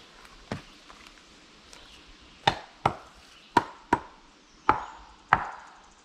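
A curved standing tree trunk, meant to be felled as a corner support for a gazebo, is struck to check that it is solid inside. It gives a series of sharp, dry, woody knocks with very little ring. It sounds solid enough to hold up a gazebo.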